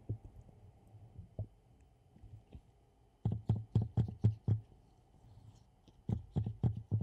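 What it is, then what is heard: Ceramic mug tapped. Gloved fingertips tap a hollow black glossy ceramic mug with a handle, held in gloved hands. Soft, scattered taps give way to two quick bursts of dull, low, knocking thuds that die away almost instantly, with faint bright clicks on top.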